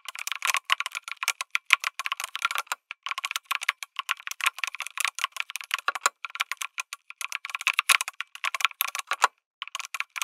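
Fingertips type rapidly on a lit mechanical keyboard with an aluminum case and red and grey plastic keycaps. The dense run of crisp, bright clacks has a clear mid-high tone, no low-end thump, and very short decay. Brief pauses break the typing near the three-second mark and again toward the end.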